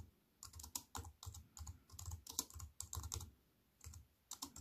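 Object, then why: Wireless keyboard, aluminium body and plastic keys. Fingertips with long nails type fast with both hands on a compact wireless keyboard with an aluminium body and plastic keys. Bursts of quick, dry key taps combine a bright clicky clatter with soft low thumps, and each stroke dies away almost instantly. Short pauses separate the bursts.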